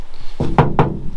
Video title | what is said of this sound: We Are Back!! 2K subs, Car035 and a shed update: BackyardBuilds | that sounds like metal now